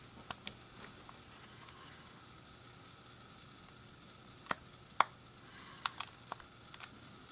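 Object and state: Plastic game controller buttons being clicked.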